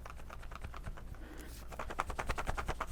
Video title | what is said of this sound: How To Fill Your Pods and Put Them In Your Pod Pack Properly | i feel like it's still a little loose in there